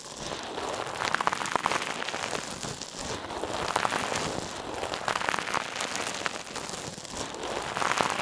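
A hand-sized, soft, silver metallic mesh scrub sponge held in one hand is pressed, squeezed and rubbed against the left ear of a mannequin. It makes a dense, crinkly crackle like rain on a surface, centered in the midrange with a bright, fizzy top and almost no low end. The sound swells and eases in waves as the scrubber is worked.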